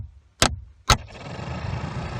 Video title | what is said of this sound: How To Install Replace AC Heater Blower Fan Assembly Chevy Aveo | If I tap on it, you can hear it turn on.